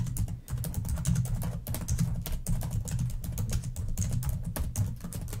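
Long nails type fast on a black plastic laptop keyboard, producing a dense run of bright, crisp key clicks. A steady low hum around 120 Hz sits underneath the tapping.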